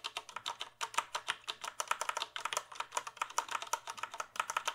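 Fingertips type on a full-size plastic computer keyboard held at an angle. A quick, steady run of short, crisp plastic key clicks with bright tops fills the clip, each tap dying away almost instantly.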